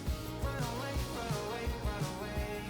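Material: Nothing is struck.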